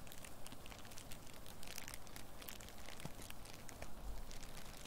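A hollow, loosely balled sheet of clear, crinkly plastic wrap or cellophane is held in both hands in front of the microphone and worked with long nails and fingertips. It gives a steady stream of soft crinkling and scratching with bright crackles over a low rumble.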